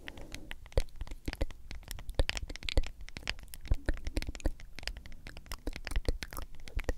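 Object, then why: Plastic powder tub with lid and label. Long acrylic nails tap and scratch the white lid and printed label of a medium hollow plastic G Fuel powder tub. The result is a fast, irregular patter of short, dry clicks with bright tips over a soft hollow thump, mixed with light scratchy rasps. Each tap dies away almost instantly.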